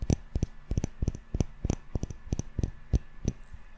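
A small glass jar candle full of solid yellow wax, with a metal lid, is held close and tapped with fingertips and short nails on the glass and the lid. Seventeen short, dry taps come in an uneven rhythm, each a dull low knock with a quick bright click on top and almost no ring.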